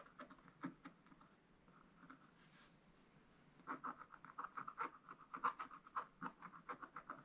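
A wooden stylus scratches lines into the black wax coating of a spiral-bound scratch art book page. A few short, quiet scratching strokes come first, then a softer stretch, then from the middle onward a quicker run of crisp, dry scratches with a midrange rasp around 1 kHz.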